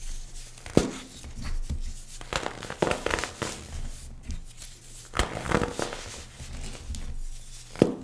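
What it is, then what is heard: Compressed baking soda chunk being crushed. A palm-sized chunk of compressed white baking soda, held over a pile of loose powder, is squeezed with both bare hands and crushed with the fingertips. Dry crunching and crumbling is heard, with sharp snapping cracks near the start and end, as the chunk breaks apart into powder.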